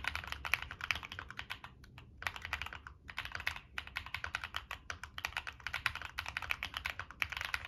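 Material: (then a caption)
Plastic, metal. Fingertips type rapidly on a Monsgeek M1 mechanical keyboard with NK Creams, a dark metal case and purple and black plastic keycaps. Quick runs of short, crisp, bright clacks with almost no low end are broken by brief pauses around two and three seconds.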